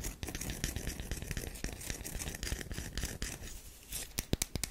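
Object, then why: Bar of soap scratched with fingernails. Long nails scratch and rub a solid oval tan bar of soap with a scored surface, held in the hands. The result is a steady run of dry, bright scratching and rasping with a low rumble underneath, ending in a few sharp, crisp clicks.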